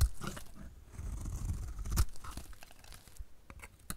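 A solid, dry bar of soap painted magenta is held in the hand while a utility knife blade scrapes and shaves its face. Soft, dry crunching and scraping strokes come in an uneven run, heavy in the low end with faint bright edges. One sharper crunch stands out near the middle.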